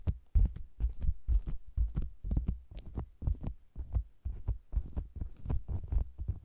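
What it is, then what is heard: Faux leather cosmetics bag tapped from outside. Fingertips and long nails tap and scratch the sides of a round, hollow faux leather cosmetics bag with a microphone inside it. The result is a quick, uneven run of deep, boomy thuds, with brief bright scratchy edges on each hit. The thuds fade fast between taps.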